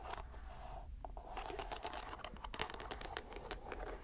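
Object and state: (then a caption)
Rubber mesh stress ball being squeezed. A fist-sized, soft green rubber squishy stress ball in a white string net is squeezed and released in one hand by the fingers and palm. It gives a steady run of soft crinkling, scratching and crackling squishes, with a faint hum near 860 Hz beneath the dense, quick clicks.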